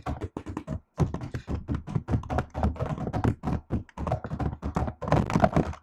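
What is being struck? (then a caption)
Laptop keyboard with plastic keycaps. A laptop keyboard with plastic keycaps is typed on with fingertips and long nails. It makes a quick, steady stream of short, dry taps and clicks in clustered bursts with brief pauses, weighted toward a soft low thump with little ring.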